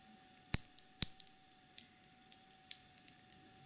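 Long polished nails scratch and tap the black plastic screw lid and sides of a small clear BH Cosmetics jar filled with pink glitter. The result is irregular, sharp, bright clicks and ticks with no ringing, two louder taps near the start, and a faint steady tone underneath.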